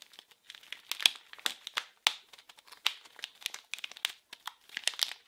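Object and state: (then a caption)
Plastic film wrapper. A small blue printed package wrapped in plastic film is squeezed and crinkled with fingers and nails, giving a rapid, irregular series of sharp, crisp crackles. The sound is thin and bright with almost no low end, and each crackle stops almost instantly.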